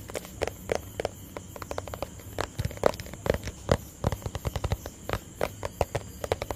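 Fingertips tap a small, hollow, empty white plastic tub on its sides and base in a quick, uneven rhythm. Each tap is a short, dry, hollow knock with a mid-pitched resonance and no ring, over a faint low background.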